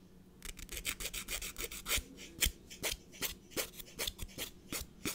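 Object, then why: Emery nail file rubbed on a fingernail. A blue emery nail file is rubbed against the edge of a natural fingernail with steady back-and-forth strokes. After a brief quiet start, a rapid run of short, bright, raspy scrapes follows, each stroke a crisp burst of high hiss with little low end. The file stays the same throughout.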